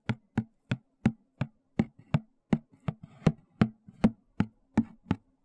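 Fingertips and nails tap and scratch the top and edge of a white, hollow, closed cardboard shoe box held horizontally. Fifteen dull, hollow knocks with a low body around 220 Hz land at an uneven pace, each dying almost instantly, with soft scratchy rustles between some of them.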